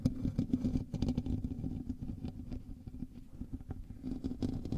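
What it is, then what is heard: Metal mesh microphone grille. Fingertips and nails of both hands scratch the hollow metal mesh grille of a black USB microphone. The result is a close, dense, irregular run of rapid scraping strokes with a boomy, low, rumbling tone and little bright content, swelling louder at the start and end.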